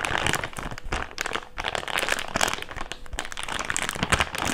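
An empty, thick, clear plastic bag is unfolded and crinkled with both hands. It makes a steady run of dense, bright crinkling and crackling, with sharp crunchy peaks and short dips between handfuls.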